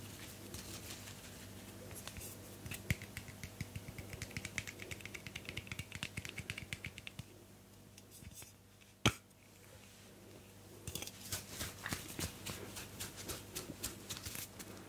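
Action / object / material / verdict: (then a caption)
tap / aluminium aerosol can / aluminium / none. A teal aluminium aerosol hairspray can with a white cap, hollow metal, is tapped with long nails near the cap and body, held close to the microphone. Rapid, bright clicky taps come in flurries over a steady low hum, with a pause in the middle broken by one sharper knock before the tapping resumes.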